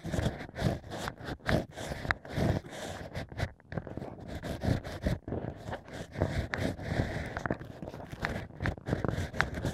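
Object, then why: Stacked natural wine corks scratched with a bamboo ear pick. Bamboo ear picks scratch inside the holes of a stack of natural wine corks. The result is a run of soft, crackly scraping and rustling strokes, mostly muffled and low, with occasional brief bright ticks.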